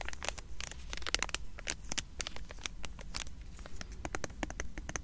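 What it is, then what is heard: Foil card pack crinkled. Fingers and nails crinkle, tap and scratch the small sealed foil wrapper of a trading card booster pack held close. Dense, sharp, bright crackles and taps come in quick bursts over a low steady rumble, each dying away almost instantly.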